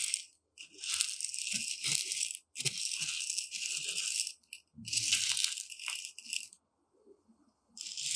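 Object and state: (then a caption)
Dry uncooked rice grains stirred in a tray. A single pointed metal rod is pushed and stirred through a shallow tray of dry, uncooked white rice. The result is dense, bright, hissing rattles of grains shifting in bursts, with brief quiet gaps between strokes and faint low thuds underneath.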